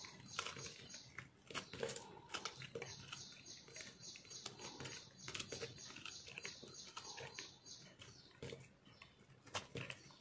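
A small solid piece of green speckled soap is held in the fingers while a metal knife scrapes and chips crunchy flakes off it. The sound is a quiet series of short, bright, crisp scraping clicks and crackles with very little low end, each dying away almost instantly.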